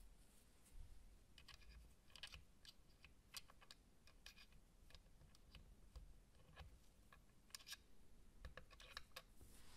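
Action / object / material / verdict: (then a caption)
tap / plastic game console case / plastic / none. White cotton-gloved fingertips tap the underside of a small, hollow, dark grey plastic retro game console case. The result is a quiet, irregular run of short, dry, typing-like clicks with bright edges that die away almost instantly, over a steady low rumble.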